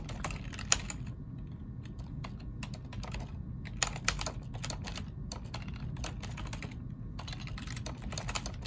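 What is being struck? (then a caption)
Plastic computer keyboard. Fingertips of both hands type on the keys of a black plastic ergonomic keyboard, producing quick, bright, dry clicks in uneven bursts with brief pauses. A steady low rumble sits underneath throughout.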